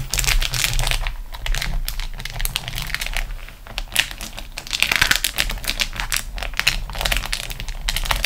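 Long acrylic nails scratch and tap across a large, flat, crinkled sheet of beeswax-coated cotton food wrap. Dense, rapid crackling and crinkling fills the clip, with bright, sharp clicks over a steady low hum.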